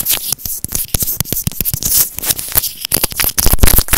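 A small white plastic earphone inline microphone, held horizontally in both hands, is scratched and tapped with fingernails. The result is a rapid, irregular run of close, dry clicks and scratches, with dull low thumps under crisp, hissy high-frequency scraping.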